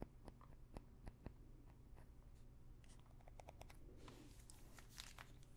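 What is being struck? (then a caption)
Small plastic pill bottle cap. Long nails tap the cap of a small plastic pill bottle full of pills. Sharp, quiet clicks come first, then give way to a steady stream of fast, bright ticking and light scratching over a low, soft rumble.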